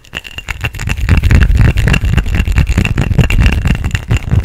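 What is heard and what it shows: A small, hollow, empty clear glass cup with vertical ridges is held in both hands close to the microphone and rapidly tapped and scratched with fingertips and nails. The result is a fast, irregular run of short, dull taps with a heavy low-end thump and light scratchy clicks on top.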